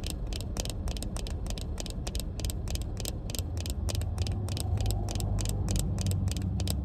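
A small pair of sunglasses with a black plastic frame and tinted lenses is held up in the hand and tapped and scratched with long painted fingernails. Quick, light, crisp clicks repeat at a steady, somewhat uneven pace over a constant low rumble.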